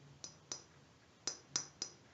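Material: Glass.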